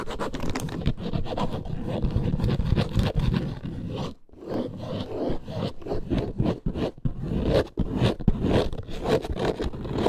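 Long acrylic nails scratch fast across the textured top panel of a small snake-print faux leather handbag. The result is a dense, continuous run of dry, rasping scrapes, heavy in the low end, with a brief pause just past the four-second mark before the quick strokes resume.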